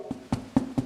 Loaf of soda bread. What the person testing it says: if you hear that Hollow sound